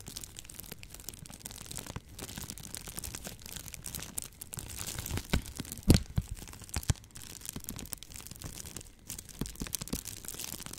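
Clear plastic bubble wrap, rolled into a tube and held in front of the mic, is squeezed and pressed with fingertips and long nails. The result is a steady, soft crinkling and crackling with a faint bright hiss, broken by a few louder sharp snaps near the middle.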